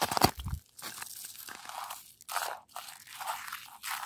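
A hand with long light-coloured nails taps and scratches a large, solid outdoor surface of icy, crusted snow on the ground. It opens with a sharp, bright tap and a brief low thump, then gives way to dry, crunchy scraping bursts separated by short silences.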